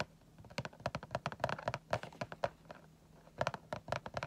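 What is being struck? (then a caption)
Clear plastic window of a cardboard toy box. Fingertips tap about twenty times on the clear plastic window of a cardboard Funko Pop box with a vinyl figure inside. The taps are short, dry clicks with a hollow mid-range tone, coming in quick bursts with a brief pause before a final flurry.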